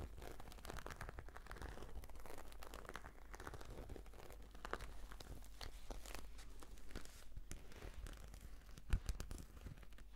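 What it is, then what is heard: Faux-leather case scratched. Long nails and fingertips scratch a black glossy croc-embossed patent faux-leather brush case, making a steady run of dry scratches, crinkles and short crackling ticks with a low constant hum underneath. One sharper tick stands out near the end.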